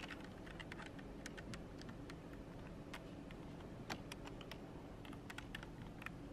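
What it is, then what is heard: Plastic computer keyboard. A long nail and fingertip press the keys of a black plastic full-size computer keyboard on a desk, tapping the spacebar and the edge as well. Quiet, quick, bright clicky taps come in an irregular stream over a steady low background hum.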